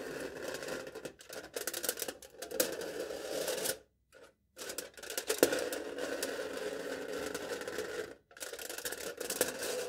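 A knife tip taps and scratches the top of aluminium foil stretched over a cup, working near the center of the foil-wrapped cylinder. The result is a steady, crinkly scraping with light ticks and a faint ringing tone around 490 Hz over a thin, bright hiss. It drops to brief silences around four and eight seconds before resuming.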